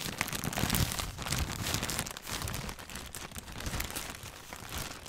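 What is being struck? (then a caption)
Thin plastic bag. A thin, clear plastic bag wrapped around a hand-sized white packaged item is held in both hands and crinkled and squeezed with the fingertips. The result is a dense, continuous crinkling and crackling with bright, high-pitched rustle over a soft low rumble. It swells loudest early on, then rises and falls unevenly throughout.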